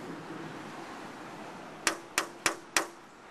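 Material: Glass.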